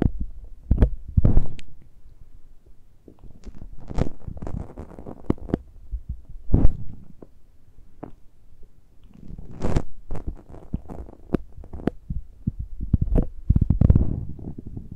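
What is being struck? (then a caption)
Metal mesh microphone grilles. Fingertips and nails scratch and touch the uncovered metal mesh grilles of the small X-Y microphone capsules on a handheld Tascam recorder. The result is a close, boomy run of low rubbing thuds and dull bumps, with occasional brief, brighter scrapes. Each contact dies away almost instantly.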